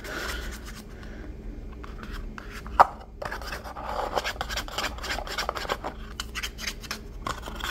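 Fingertips and nails rub and scratch the side and rim of a small, empty, hollow white paper cup with a blue pattern, held in the hand. The sound is a steady dry papery scraping and rasping with one sharp click near the middle and a low hum underneath.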